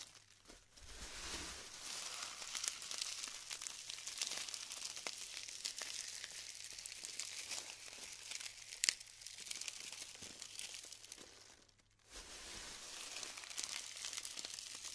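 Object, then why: Glued styrofoam bead clusters. Handfuls of glued styrofoam bead clusters (glued foam balls) are squeezed and crumbled, producing a dense, bright crinkling and crackling with quick dry snaps and no low end. The crackle runs almost continuously, with a sharper pop near the 9-second mark and a brief quiet gap around 12 seconds before the crumbling resumes.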